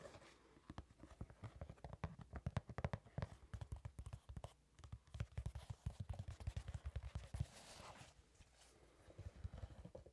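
A hollow, empty brown leather dress shoe, held next to the microphone, is tapped and scratched on its leather upper with long red-painted nails. Quick bursts of dull, low, thumping taps come in rapid runs, broken by brief pauses. Softer, brighter scratching rises between them near the end.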